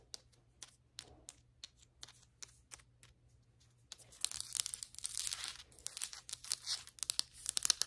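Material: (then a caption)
Ceramic. Long white acrylic nail tips tap on a flat, solid ceramic floor tile, producing sharp, bright clicks spaced apart with quiet gaps between them. About halfway through, the nails begin scratching the tile surface, adding denser, hissy, high scraping strokes mixed with continued taps.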